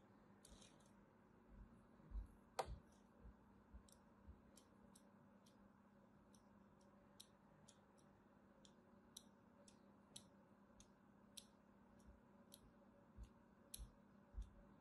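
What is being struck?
Bar of soap scored with a metal blade.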